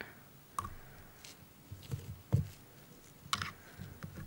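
A thin metal dental pick with a white handle taps and scrapes along the lower teeth of an open, hollow, hinged plastic dental model with pink gums and white teeth, held in a gloved hand. About five short, click-like taps sound, each a dull low knock with a brief bright tick that dies away almost instantly, over a quiet background.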